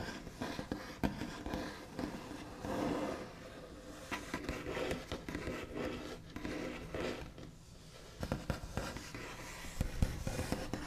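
The backs of long nails scratch and trace across a flat, solid white-finished wooden tabletop. Soft, continuous scratchy rasps and swishing strokes rise and fall, with a few sharper ticks where the nails catch the surface. The sound stays quiet and close, and its dull body sits mostly in the low and middle range.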